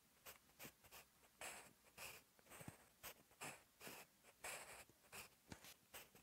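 A sharpened wooden graphite pencil held in the fingertips writes Korean text on a lined paper sheet in a notebook. The tip gives quiet, bright scratches across the paper in short bursts of strokes with brief pauses between them.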